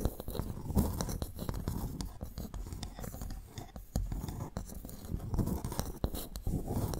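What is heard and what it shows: Long painted nails on both hands scratch and tap two large, empty, hollow freshwater mussel or clam shell halves of the same kind, made of ridged brown shell and standing upright between two microphones. The result is a steady, soft, low-pitched rasp of scratching broken by quick, dry little taps that die away almost at once.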